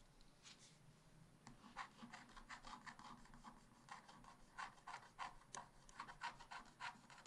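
A wooden stylus held in the fingers scratches lines into the black wax coating of a scratch-art paper page in a spiral-bound book lying flat on a table, revealing the colours of an ice-cream picture. Quiet, dry rasping strokes come in quick, uneven bursts, each a short bright scrape centred around 1 kHz with almost no ring.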